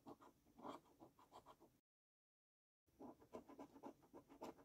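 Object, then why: Paper scratch card scraped with a coin edge. A coin edge scrapes the latex panels of a thin gold paper scratch card lying flat on a wooden table. Quiet, rhythmic scratching strokes carry a papery rasp in the low-mid range. There is a full second of silence before the strokes resume.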